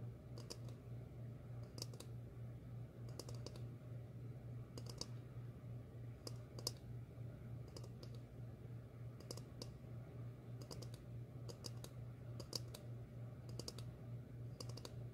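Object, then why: Ceramic bowl tapped with fingernails. Long fingernails tap a medium, glossy red ceramic bowl that is hollow, empty and held upside down. The taps come as quick, irregular clusters of sharp, bright clicks with a short high ring. A steady low hum runs underneath throughout.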